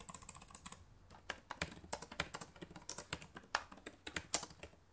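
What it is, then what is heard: Plastic laptop keyboard. Fast two-handed typing on a black laptop's plastic keyboard, struck with fingertips and long nails. About 21 quick, dry clicks come in rapid bursts, with a brief pause near the one-second mark. Each click is crisp and bright and dies away almost instantly.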